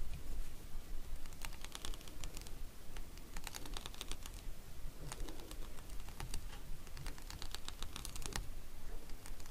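Fingernails tap and scratch across the bumps of a palm-sized, red, translucent plastic paw-shaped acupressure massager held in the hand. Quick, irregular, bright plastic clicks come in clusters, mixed with scratchy rustling over a steady low rumble that lasts the whole clip.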